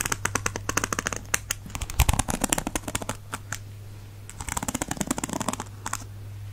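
A thin white plastic stick is dragged and scratched across the ball-tipped bristles of a black and teal plastic paddle hairbrush. It makes rapid, crisp plastic clicks and ticks in two dense bursts separated by a brief quieter pause, over a steady low hum.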